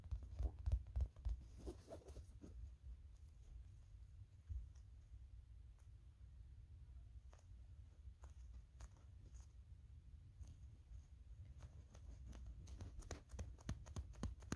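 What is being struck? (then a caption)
Small molded plastic figure. Fingernails tap and scratch the face and purple polka-dot hat of a small pink molded-plastic Kirby figure. The result is quiet, short, dry clicks and scrapes over a steady low hum. The taps come in busy clusters near the start and end, with sparser clicks in between.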